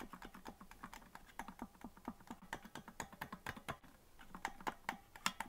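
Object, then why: Plastic melodica keys. Fingertips tap the keys of a hollow green plastic melodica that isn't being blown, giving a steady run of quick, dry plastic clicks. The clicks have a bright top and a low thump, and each one dies away almost instantly.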